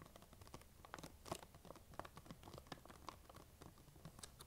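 Long acrylic nails tap and scratch the surface of a large, printed plastic sharing-size bag of peanut M&M's that appears full, crinkling the bag as it is held up. A quiet, rapid series of short, dry clicky taps and scratchy crinkles fills the clip, each dying away almost instantly, with a few sharper, brighter taps standing out over the soft rustle.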